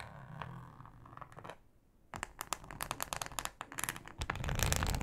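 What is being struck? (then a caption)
Plastic cutting board. Long acrylic nails scratch a thin, flexible, solid yellow plastic cutting mat with a ribbed texture. Quiet, low rubbing comes first, then a brief near-silence before a run of rapid, irregular dry scratching strokes. The strokes have bright, crackly tops and a low rumble, and they grow louder toward the end.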